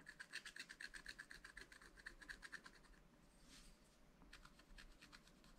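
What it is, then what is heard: Scratch-art paper being scratched. A wooden stylus scratches the black coating of a sheet from a scratch-art paper pad, making quick, bright rasping strokes about four per second. The strokes pause for a softer, smoother swish just past the middle, then resume more quietly toward the end.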